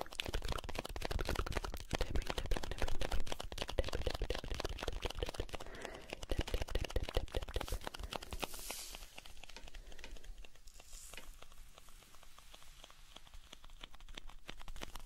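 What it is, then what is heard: Cardboard salt box. Fingers tap, scratch and tilt a small blue cardboard salt carton, hollow and holding salt, close to the microphone. Dense, rapid dry taps and scratches with a dull, close low end fill the first half. They then give way to softer, sparser scratching and a faint rustle.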